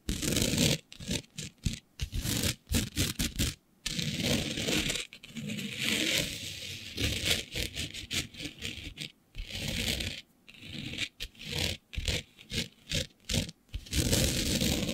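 Long nude nails scratch across a flat, dark fabric sheet covered in fine green glitter, using both hands. Dry, bright, rasping scratches come in quick, uneven bursts, separated by brief silences. The texture is gritty and crackly, with a soft low rumble beneath.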